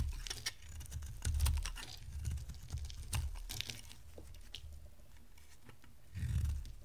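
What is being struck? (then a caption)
Bar of soap carved with a blade. A rectangular solid pink dry bar soap is held in the hand and carved into flakes with a box-cutter blade. Dry, crisp scraping and crackling with quick bright ticks repeats throughout over a low rumble, rising in a heavier swell near the end.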